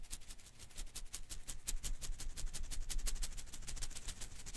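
A single blue and green Koosh ball made of thin rubber filaments is held in one hand while fingers rapidly flick and strum its strands, sometimes shaking the ball. This produces quiet, fast, uneven bursts of bright, papery rustling and soft ticking that stop almost instantly, over a low, dull rumble.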